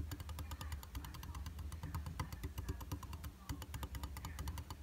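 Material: Glass.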